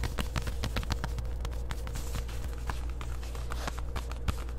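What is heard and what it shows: Long white acrylic nails scratch and tap across the front and hip of worn black distressed denim shorts, a soft fabric garment. Quick, dry, rapid taps and short scratchy strokes come in an uneven stream over a steady low hum.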